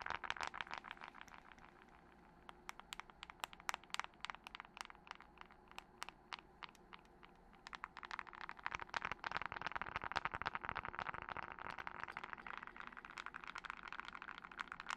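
Long nails tap rapidly on the glass screen and body of a thin, hollow glass-and-metal smartphone held near a fluffy microphone, with rings on the fingers. Quick, dry clicks with a bright edge and a midrange tone come in uneven bursts, briefly thinning and softening early on before growing denser and louder in the second half.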